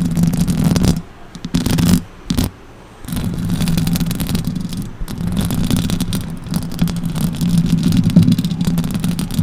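Long orange acrylic nails scratch and tap the hollow metal mesh grille of a silver Blue Yeti USB microphone with both hands. The result is a dense, close-up rasping and scraping with a heavy low rumble and a steady low tone, broken by a few short quieter pauses early on before the scratching continues.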